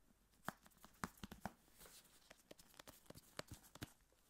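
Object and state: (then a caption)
Metal aerosol shaving cream can. A tall, hollow, pressurized metal aerosol can of shaving foam is held close to the microphone and tapped with gloved fingertips. The result is a quiet series of short, dull taps with a brief hollow ring, mixed with soft crinkling glove rustle.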